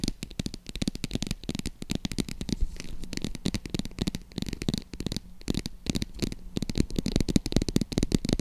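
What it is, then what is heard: Faux leather purse, scratched and tapped. Long acrylic nails scratch and tap the textured surface of a medium-size green croc-embossed faux leather zip wallet purse held in the hands. Dense, rapid clicks and scratches run throughout, with a low, muffled body and brief bright ticks, each dying away almost instantly.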